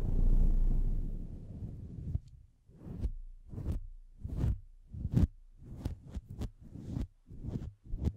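Fingertips of both hands pet, rub and pick through the long fibers of a grey-white faux-fur windscreen covering a Blue Yeti microphone. A steady, deep, muffled rubbing rumble fills the first two seconds, then gives way to 13 separate soft, low brushing thumps with brief quiet gaps between them.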